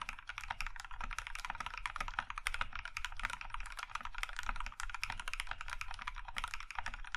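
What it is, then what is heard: Mechanical keyboard being typed on. Fingertips of both hands type steadily on a compact Iron 165 mechanical keyboard with a plum-red aluminum case and white KAT keycaps. A fast, continuous run of short, crisp clacks centers around 2 kHz, with bright edges and a low thud beneath. Each keystroke dies away almost at once.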